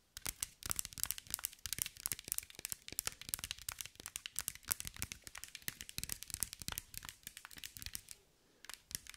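Long nails tap and scratch across a green mirror-glass mosaic ball held in one hand. The result is a dense run of quick, bright, crisp clicks and crinkly scrapes with almost no ring, pausing briefly near the end before a few more taps.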